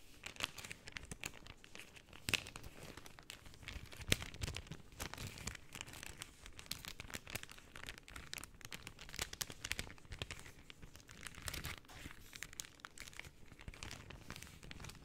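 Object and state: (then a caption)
Cellophane sheets being crumpled. Stacked layers of pink cellophane sheet are crumpled and flexed by hand with long nails. Quiet, dense, bright crinkling and crackling run steadily throughout, with a couple of sharper snaps standing out early on.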